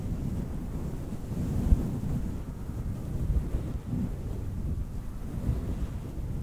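Long painted fingernails and fingertips slowly and gently scratch all over a fluffy grey faux-fur windscreen that sits soft and hollow over the head of a Blue Yeti USB microphone. The result is a steady, muffled low rumble with soft brushing swells and a few slightly stronger thumps, almost no bright content, and a windy, boomy character throughout.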